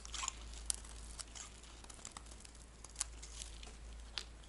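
A metal blade scrapes the surface of a dry, cream-white oval bar of solid soap, shaving off thin crumbly curls. The sound is a quiet, continuous crisp crunching and scratching, broken by sharp bright ticks, over a steady low hum.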